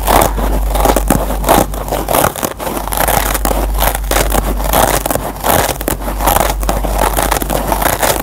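Fingertips and short nails scratch the green nylon scour layer of a single kitchen sponge with yellow foam. The result is a dense, continuous run of dry scratching and rustling with quick, uneven strokes over a steady low hum.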